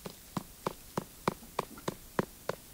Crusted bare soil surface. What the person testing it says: do you hear that hollow sound